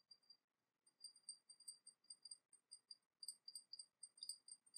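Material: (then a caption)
Porcelain. Long nails tap the sides of a small, hollow, painted porcelain teapot with a dragon motif held in the hands. The result is a quiet, quick run of separate, bright clicks with a high, glassy ring that dies away almost at once, broken by a short pause near the start.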